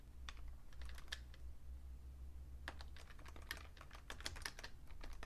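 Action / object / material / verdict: tap / plastic computer keyboard / plastic / none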